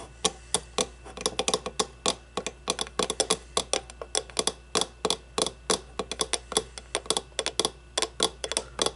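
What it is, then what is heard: Empty clear acrylic cube. Long blue-painted nails tap an empty, hollow clear acrylic display cube resting on a wooden table. About forty quick, dry, bright clicks come in an uneven, fast rhythm. Each tap dies away almost instantly, with very little low end.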